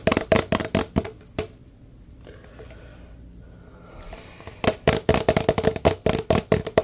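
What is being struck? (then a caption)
Large paper drink cup. A large, empty, hollow paper fast-food cup with a red pattern is held in both hands and tapped fast with the fingertips. About 22 quick, hollow taps ring around 656 Hz, with a short burst, a quiet pause, and then a longer run of taps.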